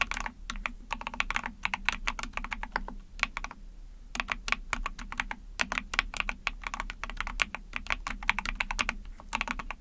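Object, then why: Plastic mechanical keyboard. Rapid typing on a small 44-key Epomaker TH40 mechanical keyboard with an ABS plastic case, PC plate, pink and white keycaps and backlighting, pressed with long painted nails and fingertips. Quick bursts of short, bright plastic clacks run almost continuously over a faint low hum, with a brief lull near the middle.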